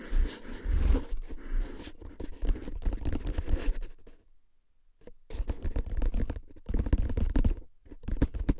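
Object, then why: Paper-wrapped cardboard tube can with a metal lid. Fingertips tap and scratch a tall, hollow, paper-wrapped cardboard tube can labeled "Tingles" with a metal lid, held upright in front of the chest. Dense, crackly scratches and soft, low-heavy taps rustle along, then stop for about a second before starting up again just as busily.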